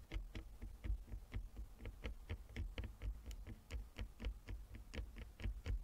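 Long fingernails on both hands tap rapidly and unevenly across a flat wooden chess board with inlaid squares. Each tap is a short, dry click with a bright edge and almost no ring, heard over a steady low hum.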